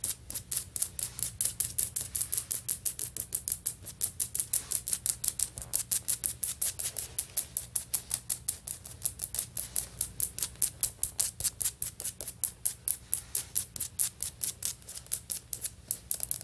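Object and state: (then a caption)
Tile floor, solid. Long fingernail tips of both hands tap rapidly on solid beige stone-pattern floor tiles, likely vinyl or ceramic. About 85 sharp, bright clicks follow one another in a steady, even stream, each dying away almost instantly over a faint low hum.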